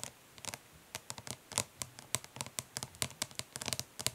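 Long nails tap and lightly scratch the lid of a flat, hollow plastic eyeshadow palette resting on cloth. About two dozen quick, dry, bright clicks come in an uneven, fast but gentle rhythm, with faint scratchy rustling between them. Each tap dies away almost instantly, and the whole clip stays quiet.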